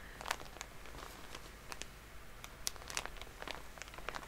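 Long polished nails tap and scratch on top of a full Shiseido cotton pad pack wrapped in soft plastic. The result is a quiet run of short, bright clicks and crinkly scratches against a low background hiss. Several sharper taps stand out among the softer ones.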